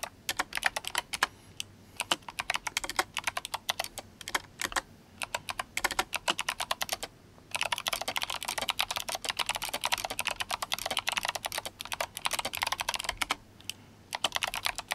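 Fingertips of both hands type fast on an RGB-backlit GMMK Compact mechanical keyboard with clicky Kailh Box White switches and plastic SA keycaps. Bursts of sharp, bright clicks with very short decay come in rapid runs separated by brief pauses, with almost no low end.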